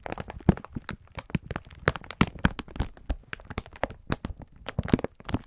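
A clear plastic-film pack of sponge scourers is held in both hands while the fingertips squeeze and rub it, crinkling the plastic. A rapid, irregular stream of short, dry crackles and crunches follows, with a soft low body and brief sharp snaps that stop instantly.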